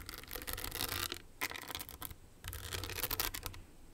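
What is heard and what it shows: Long nails tap and scratch the crystals of a small, hollow, owl-shaped hard clutch purse covered in blue, green and clear rhinestones on a metal frame. The result is a bright, crisp rush of fast clicks and scraping rasps, mostly high-pitched, with brief quieter pauses between bursts.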